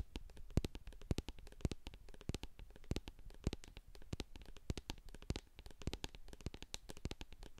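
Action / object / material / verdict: tap / plastic jar of cream with a metal lid / plastic / none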